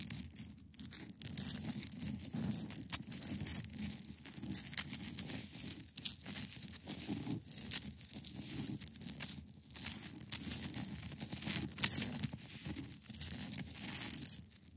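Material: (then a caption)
Ice. Long pointed nails scratch across the top of a large, solid, clear ice block resting on a fabric surface. The result is a dense, continuous rasping texture of bright, crackly scrapes over a soft low rumble, with brief louder flicks near the 3- and 12-second marks.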